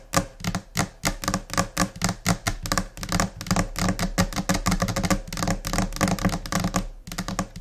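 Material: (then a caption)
Laminate. Long painted nails of both hands tap quickly across a large, flat white desk top, likely laminated particleboard, though the material is uncertain. The result is a dense, scattered run of short, clicky taps with a solid low thud under each one. Each tap dies away almost at once, with no ring.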